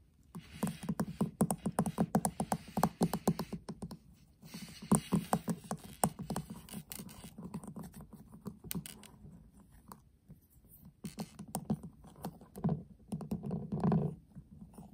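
The back of a flat, hollow metal tin eyeshadow palette, lying upside down, is tapped repeatedly with the fingertips of both hands. Bursts of quick, hollow, low-pitched taps come in uneven clusters with brief pauses between them. Each tap stops almost at once.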